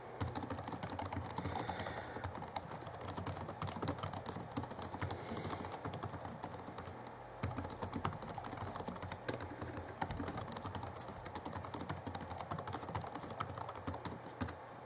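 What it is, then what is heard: Plastic laptop keyboard. Fingertips of both hands type quickly on the backlit plastic keys of a 2011 Alienware M11x R2 laptop keyboard. The result is a very dense, steady stream of short, bright clicks and taps, with a brief lull just past the halfway point before the typing picks up again.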